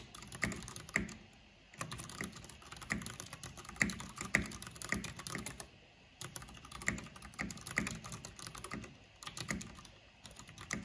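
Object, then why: Plastic mechanical computer keyboard. Both hands with long nails type quickly on the hollow plastic keycaps of a black plastic backlit mechanical keyboard. Dense bursts of sharp, bright clacks with short, hollow plastic knocks come in flurries separated by brief pauses.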